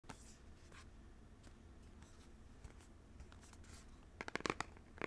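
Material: Paperboard.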